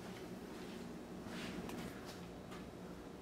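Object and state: Nothing is struck.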